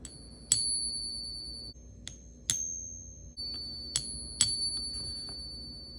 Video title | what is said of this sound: Don’t Get Scammed! 😱 How to Tell If Your Coins Are FAKE | Do you hear that sound? That's a pretty sound.